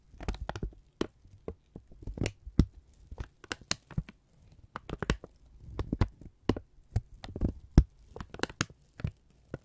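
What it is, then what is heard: Kraft paper being crumpled. A thin strip of brown kraft paper is held in both hands and crumpled and folded with the fingertips. It makes a quiet, irregular series of short, dry crinkles and crackles, each snapping brightly and dying away at once over a soft low rumble.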